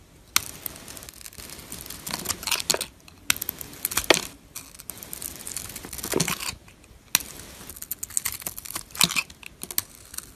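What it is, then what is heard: Glitter-coated bar soap being scraped. A flat metal blade scrapes the silver glitter coating off a solid, hand-sized bar of white soap, exposing the white soap underneath. The sound is a series of dry, crinkly, bright scraping strokes with sharp ticks, coming in bursts separated by brief quiet pauses.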